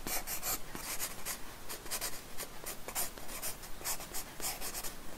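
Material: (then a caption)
Paper. A pencil makes quick scratching strokes on a paper sketchbook page resting on a wooden desk, drawing hair. Many short, bright, papery scratches follow one another at an uneven pace, each stopping dry with no ring.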